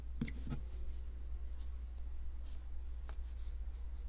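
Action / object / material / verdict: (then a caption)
scrape / plaster block scraped with a metal pick / plaster / none. A palm-sized solid white plaster block with a ridged shell shape, surrounded by loose plaster crumbs, is held in one hand with short painted nails and scraped and chipped with a small metal pick. Sharp clicks near the start give way to soft, scratchy scraping and faint bright ticks over a steady low hum.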